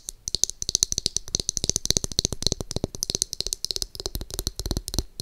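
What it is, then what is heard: Plastic hair brush back, hollow shell. Long acrylic nails tap and scratch the pink, glittery, rounded plastic back of a small palm-sized hair brush with a hollow-sounding shell. The result is a rapid, uneven run of sharp, dry clicks with bright high-frequency ticks and no ring, mixed with brief scratchy rasps.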